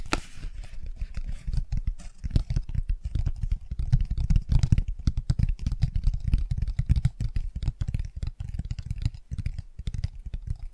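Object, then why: Cardboard board book pages. Long nails and fingertips of both hands scratch and tap across the raised textured shapes on the bicycle and car pages of an open cardboard board book. The result is a dense, steady run of soft, dull taps and rubbing scratches that stay deep and muffled, with almost no bright content and each tap dying away at once.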